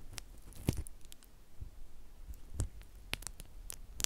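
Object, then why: Plastic bubble wrap. A flat sheet of clear plastic bubble wrap is held in both hands while individual bubbles are squeezed and popped with the fingertips. Several short, sharp pops ring out with bright clicky edges over a soft, low background rumble, with quieter crinkles in between.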